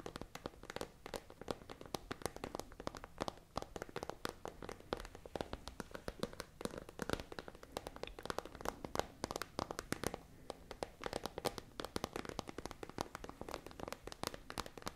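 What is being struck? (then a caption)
Plastic pencil case with pens inside. A tall, hollow, transparent iridescent holographic plastic pencil case with pens inside is tapped and scratched with long nails. Quick, dense clicks and crinkly scratches follow one another without pause, each one short and dry with a bright edge. The sound stays quiet and steady throughout.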